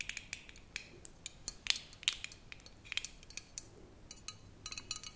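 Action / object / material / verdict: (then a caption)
tap / glass bottle with metal cap / glass / none. Fingernails tap on the red metal cap and the glass of a tall glass bottle full of tomato passata with a paper label. The result is a quick, irregular series of sharp, bright clicks and light clinks, each dying away almost at once, with a faint steady hum underneath.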